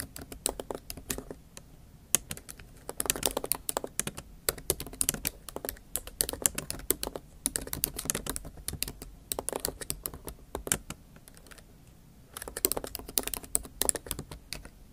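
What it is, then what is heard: Laptop keyboard typed with fingernails. Long acrylic nail tips rapidly tap and type on the black plastic keys of a MacBook Pro keyboard set in a silver aluminum laptop body. The result is dense bursts of bright, sharp clicks that die away almost instantly, with a brief quieter pause before the tapping picks up again.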